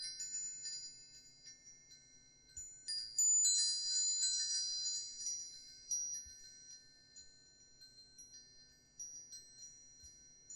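A hanging wind chime with hollow aluminum tubes and a wooden sail disc is held up by its string and shaken by hand, so the tubes knock together and ring. Bright, high metallic tones come in several clustered bursts, each one shimmering and overlapping as the notes slowly fade.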